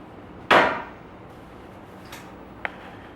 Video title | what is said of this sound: Demonstration speech | have a hollow sound when you tap on it